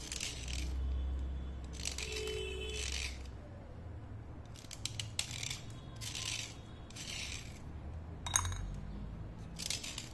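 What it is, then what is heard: Slate pencil being scraped. A steel utility knife blade scrapes along the surface of a thin, solid slate pencil held between fingers, dry-cleaning it as the powder falls onto a plate. Short bursts of bright, gritty scraping repeat in an uneven rhythm, with a few sharp clicks, over a low, steady rumble.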